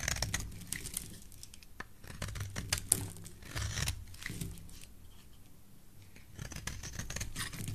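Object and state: Bar soap being shaved.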